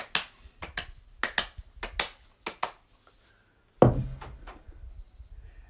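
A white, hollow plastic scrubber cartridge for a Poseidon SE7EN rebreather, about 15 cm tall and filled with granular CO2 absorbent, is held in both hands and tapped on its sides with fingertips and palms to settle the granules. About nine short, dull taps with a faint granular rattle are followed by a heavier, lower thud as the cartridge is pressed down onto a wooden table, leaving a brief crunchy settling afterward.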